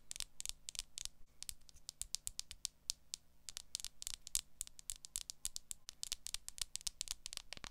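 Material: Plastic.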